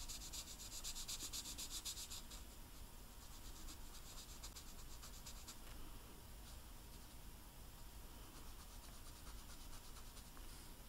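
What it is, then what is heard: Royal icing sugar cookie. A green food-coloring marker tip rubs and scratches repeatedly across the dry, hard white royal icing on a large, flat, solid sugar cookie printed with Santa, filling in an area. The result is a quiet, steady, dry scratching with bright, hissy strokes, loudest in the first two seconds, over a faint low rumble.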